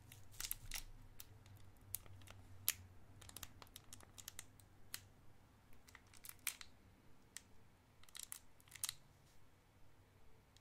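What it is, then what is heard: Cellophane candy wrapper crinkled. A small clear cellophane wrapper around a white disc candy is twisted and crinkled with the fingertips of both hands. Dozens of sharp, bright crackles and snaps come in irregular bursts, each dying away almost at once, over a quiet low hum.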